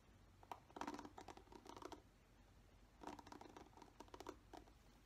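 Fingertips brush and scratch the bristles of a black plastic paddle hairbrush. Two bursts of quick, soft, papery ticks and scratches, around 0.5–1.9 s and 3–4.6 s, are separated by a near-silent pause. The sound is quiet and dry, with little low rumble.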